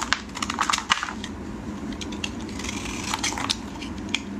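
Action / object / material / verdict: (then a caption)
scrape / bar of soap / soap / none. A solid yellow bar of soap, held in hands wearing pink finger cots, is scraped and cut with a metal blade, and flakes fall onto a plastic tray. Dry, crunchy scraping and crackling come in quick bright bursts over a low steady hum, with short sharp snaps that die away at once.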